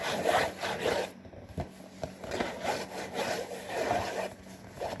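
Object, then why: Printed cardboard cracker box. Fingertips and nails scratch and rub the back and front panels of a hollow, printed cardboard saltine cracker box. Rhythmic, raspy, sawing-like strokes swell and fade in the mid range, with a quieter stretch broken by a few sharp ticks before the scratching picks up again.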